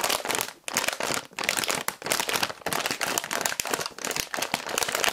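A printed plastic bag of instant miso soup ingredients, with its contents inside, is held close and crinkled and squeezed with the fingers. It gives dense, bright crinkling and crackling in uneven bursts separated by brief quiet gaps, with almost no low end.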